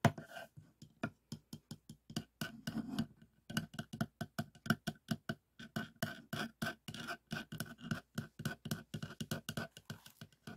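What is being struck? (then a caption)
Plastic hand pump barrel. Fingertips and nails tap and scratch along the textured plastic barrel of a hollow, teal cylindrical plastic balloon hand air pump with a yellow end cap and plunger, lying on a table. A rapid, uneven series of about 46 short, dull, hollow taps with a low body is heard, mixed with brief scratchy rasps. Each tap dies away almost instantly with no ring.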